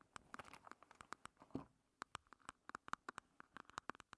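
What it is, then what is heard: Plastic compact, hollow. Long red nails tap and scratch a small, closed, hollow pink plastic makeup compact with a heart relief as it stands on a table. About twenty sharp, dry, clicky taps land in an irregular run, each with a bright hollow tick around 1.2 kHz that dies almost instantly. A brief rasping scratch sounds near the middle, all at a soft level.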